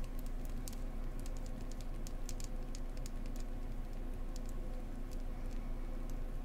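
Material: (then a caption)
Wax. A beehive-shaped beeswax candle is tapped gently up close with fingers, with some scratchy tapping mixed in. Light, quick taps and scratches form a soft, irregular patter with bright clicks over a steady low hum.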